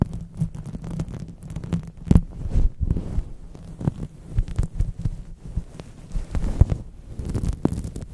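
A folded purple synthetic microfiber cloth is rubbed and scrunched over a microphone with fingertips and palms. The result is a dense stream of muffled, low thumping and rumbling bursts with soft brushing texture and almost no high content.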